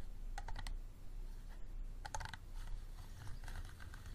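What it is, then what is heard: Empty plastic water bottle. Fingernails tap and scratch the sides of an empty, clear, unlabeled hollow plastic bottle standing upright. Quick, bright clicking taps come in short bursts, mixed with softer scratching, over a steady low rumble. The sound is quiet overall.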